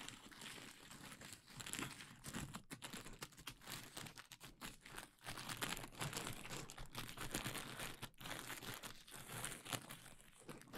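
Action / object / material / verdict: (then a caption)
scrape / plastic bubble wrap sheet / plastic / none. A large sheet of clear plastic bubble wrap is draped over the microphone while fingertips pinch and pop the bubbles near the top. Steady crinkling and rustling of the plastic fill the clip, broken by many quick, sharp, bright pops in close succession.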